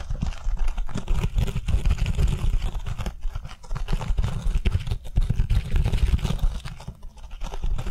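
Long nails tap and scratch quickly on the green fibrous scouring side of an oval foam kitchen sponge held upright in both hands. The result is a dense, continuous stream of soft, muffled, low-heavy taps and scratchy rustles with brief dips in loudness, and no ringing after each touch.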